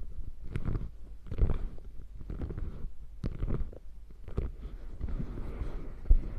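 Fingertips and long nails rub and scratch across the padded top of a beige quilted faux leather bag. The sound is a soft, muffled, low rumbling rustle in uneven bursts, broken by brief sharper scratches and dry ticks.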